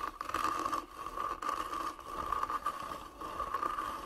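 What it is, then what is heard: Carved wooden box being scratched. Long nails scratch and rub across the carved lid of a medium, hollow, closed hand-carved wooden box. The result is a steady, grainy scraping texture with a persistent tonal band near 1.2 kHz. Short swells and dips come with each stroke.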